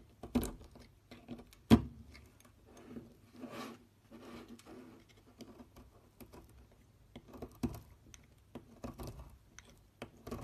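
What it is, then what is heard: Bar soap being carved. A metal knife blade scrapes and cuts a partly carved solid purple soap bar, with flakes piling up. Quiet, soft scraping and slicing sounds repeat throughout, broken by a couple of sharper cuts near the start and scattered brief clicks.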